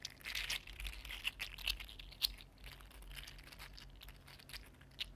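Fingers flex and twist a mini green 3D printed plastic articulated slug with jointed segments, making the segments rattle and click. The sound is a quiet, bright, irregular stream of crisp, crinkly clicks, with a few sharper snaps standing out.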